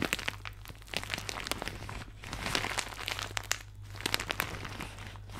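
A thin, soft, empty white plastic shower cap with blue polka dots is held beside a microphone and crumpled with fingertips and nails. It gives a continuous bright crinkling full of sharp crackles over a steady low hum.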